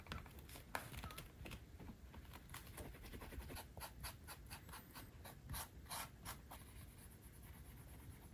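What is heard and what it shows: The edge of a small, thin, flat dark-brown leather wallet panel, held in the hand, is rubbed back and forth with a turned wooden edge burnisher for edge slicking. Quick dry scratching strokes repeat steadily, with bright, hissy friction over a low rumble. Afterward the panel is held without the tool.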